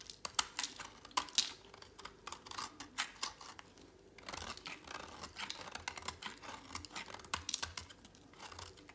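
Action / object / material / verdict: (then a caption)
scrape / bar of soap shaved with a blade / soap / none. A thinned, dry, solid orange soap bar held in a hand is shaved with a utility knife blade. Quick, dry scraping and crisp crunching strokes follow one another in a brisk run, bright and papery with almost no low end. Each stroke cuts off short and quiet, with no ring afterward.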